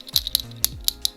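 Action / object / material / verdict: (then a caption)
knock / plastic wired earbuds knocked together / plastic / hollow. Two cheap fake plastic wired earbuds are knocked together, making a series of light, sharp, high-pitched clicks with almost no low end and no ringing. The thin, hollow clack shows their cheap, lightweight plastic construction.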